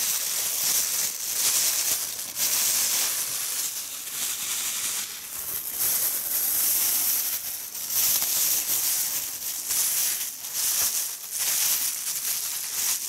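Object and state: Nothing is struck.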